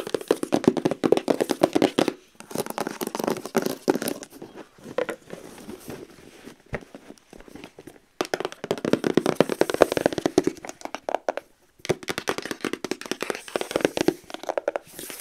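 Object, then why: Cardboard gift box. Long nails tap and knock quickly on the top and edge of the lid of a closed, long, rigid white cardboard gift box. The result is dense bursts of short, dry, hollow clicks centered in the midrange. The bursts are separated by brief pauses, with a softer, sparser stretch in the middle.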